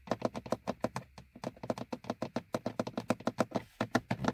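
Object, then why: Molded plastic dashboard gauge hood. Fingernails of both hands tap on a hollow, molded plastic gauge hood above a car's speedometer. There are 28 quick, dry taps in a steady, rapid patter, each a hollow midrange knock with a bright click on top. Each tap dies away almost at once.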